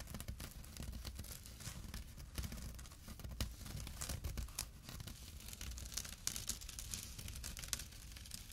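A small, empty jute burlap pouch with a drawstring rests on dark cloth while fingertips and short nails scratch its coarse weave. The result is a continuous, quiet, dry rasping with bright, crackly bursts over a low rumble, and the strokes sometimes swell louder.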